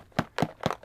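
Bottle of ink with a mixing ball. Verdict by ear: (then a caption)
Loose. A bottle of Chinese ink with mixing balls inside is shaken and banged, giving three short, dull knocks with a light rattle. The mixing balls have finally broken loose from the settled ink, so the ink is ready to use.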